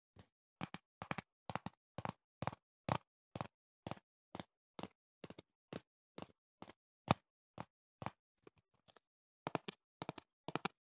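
Fingertips and nails tap the top and sides of a small, hollow, printed cardboard box held close to the mic. Quick clusters of two or three short, dry, hollow knocks repeat steadily, each dying away almost instantly, with a brief softer, scratchy stretch near the end before the tapping resumes.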